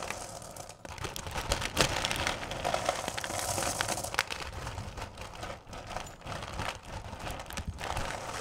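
Hands with long nails dig into and scratch through a full bowl of small, solid candy corn pieces. Continuous crinkling, crunching rustle with many quick, uneven clicks and clatters, bright and dense throughout.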